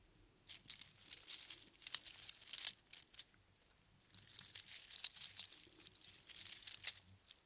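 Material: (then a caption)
Shell. A strand of small hollow spiral seashells on string rests in one palm while the fingertips of the other hand pick at and jostle it. This makes dry, bright, crinkly clicking and rattling with almost no low end. The sound comes in two busy bursts separated by a brief quiet pause.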